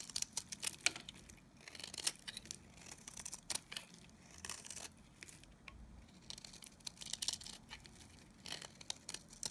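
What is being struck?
Bar of soap.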